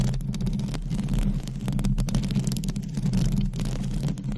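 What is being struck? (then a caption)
Metal mesh microphone grille. Long pointed acrylic nails from both hands scratch a hollow metal mesh microphone grille. The result is a steady, dense, low rumbling scrape with a droning tone around 129 Hz and almost no bright content, holding a fairly even level throughout.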